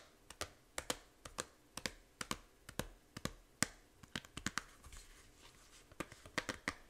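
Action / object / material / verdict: tap / small plastic game case / plastic / none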